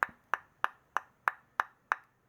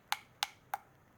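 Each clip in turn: First: dense fatwood. Second: hollow-sounding ordinary pine wood (not fatwood).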